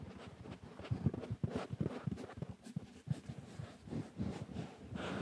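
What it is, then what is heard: Velvet cushion scratched. Fingertips and nails scratch and rub the soft, stuffed, mustard-yellow velvet of a cushion with pompoms. The result is a low, muffled rasping made of short repeated strokes, with brief brighter swishes above.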